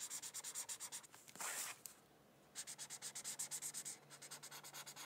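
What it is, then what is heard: Marker coloring on paper. A white felt-tip marker is rubbed in continuous back-and-forth coloring strokes across a thin paper coloring sheet resting on a hardcover book. The result is a quiet, bright, dry scratching with fast rhythmic pulses, a longer steady rub near the middle, and a brief pause before the strokes resume.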